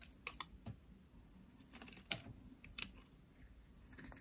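A pink, dry solid soap bar with a ridged edge is shaved into flakes with a metal utility blade. Quiet, crisp scraping cuts and dry crackles sound bright and high, with short sharp bursts scattered over a faint background. Each cut ends abruptly with no ring.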